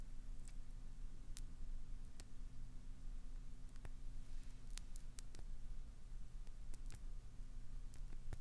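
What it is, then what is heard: Glycerin soap bar scraped with nails. Long acrylic nails scratch and scrape into the surface of a solid, translucent green glycerin soap bar held in the palm, peeling flakes off it. Sharp, bright little clicks and ticks pop out at irregular moments over a steady, quiet low hum.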